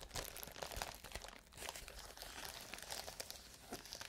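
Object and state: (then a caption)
Plastic bubble wrap being crinkled. A large clear plastic bubble wrap sheet is scratched and rubbed with fingernails close to the microphones. The result is a quiet, steady stream of bright, dry crinkling and crackling, with short sharp ticks scattered throughout.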